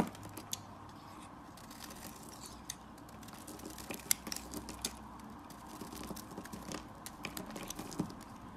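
A black utility blade scrapes and carves shavings from the edge of a solid orange-yellow bar of soap held in the hand. Quiet, dry scraping and crisp crackling ticks come in irregular bursts, with a few sharper snaps standing out over a steady low hum.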